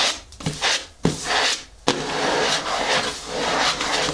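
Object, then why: Cardboard box lid. Long natural nails tap and scratch across the closed lid of a large, hollow, black printed cardboard shoe-style box lying on a table. Sharp taps punctuate bursts of dry, hissy scratching, which settles into continuous rubbing across the lid for the second half.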